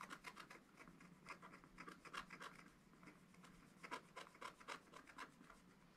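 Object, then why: Wax-coated scratch-art paper scraped with a wooden stylus. A wooden stylus rubs and scratches the coating of a black wax-coated scratch-art paper page, in a spiral notebook on a table, over a bird's wing. Quick, uneven rasping strokes repeat throughout, with a dry scratchy tone centered around 1 kHz and bright edges.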